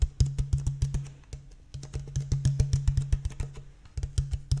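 An empty, clear, thin-walled plastic water bottle with a blue cap is held upright and tapped with fingertips and nails along its ridged body. The result is a quick, irregular run of short, hollow knocks with a low tone around 137 Hz. Each knock dies away almost at once, and the nails add faint bright clicks.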